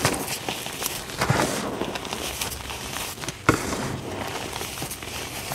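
Fingertips dig into and rake through fine pink dyed gym chalk powder in a tray, rubbing and scratching it. A steady, broadband, crackling scrape runs throughout, with occasional louder crunchy bursts and one sharp spike partway through.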